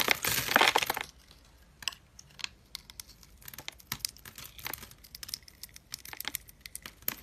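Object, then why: Bar of soap cut with a metal blade. A metal utility-knife blade scrapes and cuts small cubes from a pink, solid, hand-sized bar of dry soap scored in a grid and held in one hand, with crumbs falling onto a wooden table. A loud, dense, bright scraping crunch fills the first second, followed by a quieter, irregular run of sharp, dry, crisp crackles and clicks.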